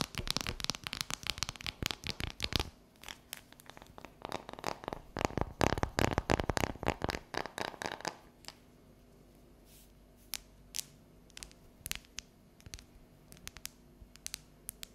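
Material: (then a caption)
Chocolate. Long yellow nails tap and scratch a solid, unwrapped bar of dark chocolate that is briefly held upright, then lowered. Dense, rapid, crisp clicks and scratchy rasps fill the first eight seconds. After that, the sound thins to sparse, sharp, bright taps over near silence.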